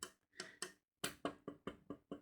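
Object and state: Plastic microphone boom arm.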